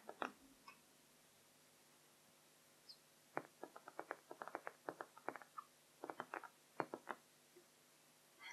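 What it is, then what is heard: Small plastic-framed whiteboard, tapped with fingernails. Long pink-painted nails of both hands tap and scratch across the white laminated surface of a small handheld dry-erase whiteboard with a blue plastic frame, lying flat on a blue fabric cloth with markers beside it left untouched. Quiet, sharp clicks come in irregular bursts, some in quick runs, each dying away almost instantly with a light, mid-pitched tone. A few faint scratches sit between them over a near-silent background.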